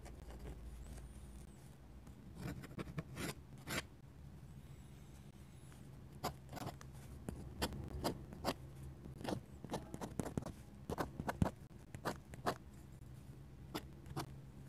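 A steel dip pen nib scratches hatching strokes across a flat paper sketchbook page. Short, dry, bright scratches come in irregular bursts over a quiet, steady low hum, each stroke dying away almost instantly.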